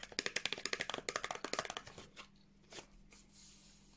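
A small, hollow, teal printed cardboard Revolution Beauty skincare box is held in one hand and tapped and scratched with long nails. A quick, uneven run of crisp, bright, dry taps fills the first two seconds, then gives way to softer scattered scratches and one more tap. A faint steady low hum sits underneath throughout.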